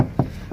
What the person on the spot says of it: quand on tape dessus, ça fait effet plastoc, mais la matière, j'aime bien.